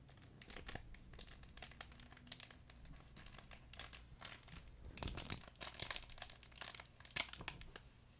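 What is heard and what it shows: A fuzzy yellow plush duck pet toy with a crinkle insert is squeezed and crumpled by hand beside the mic. It makes quiet, bright, irregular bursts of crisp crinkling that overlap and swell at times over a faint, steady low hum.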